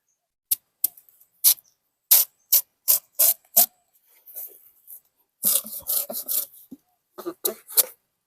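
A large, semi-ripe Khaek Nuan papaya at the crisp "luk taem" stage, the stage suited to som tam, is worked by hand and gives off a series of sharp, dry, crunchy bursts. The bursts are bright and high with almost no low end, spaced irregularly, and bunch together into quicker rasping scrapes near the end. The sound shows the fruit is very crisp, as expected at this stage.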